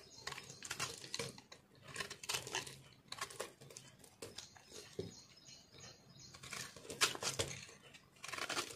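A metal knife slices and scrapes crunchy pieces off a solid, reshaped, yellow-green speckled multicolor soap block held in the palm. The result is a steady run of bright, crisp scraping and crackling strokes in irregular bursts, with short quiet gaps between passes.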